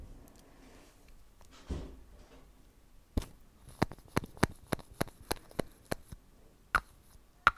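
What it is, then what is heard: Plastic lip balm tube. Long acrylic nails tap and scratch a small pink Nivea lip balm stick with a solid plastic casing. Faint scratching and rustling come first, followed by 11 short, sharp plastic taps with a clicky mid pitch that stop almost instantly.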